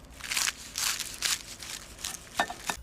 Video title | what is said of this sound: GORDON RAMSAY - FISH & CHIPS | just roll them around and hear how crispy they are